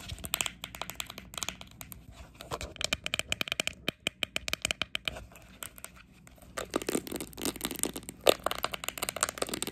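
Long acrylic nails tap and scratch the top and sides of a small, green, hollow plastic sports training cone. Quick, bright, dry clicks come in fast irregular runs, with almost no ring after each tap. Toward the end they give way to denser scratchy, crinkly bursts.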